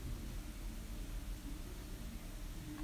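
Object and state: Nothing is struck.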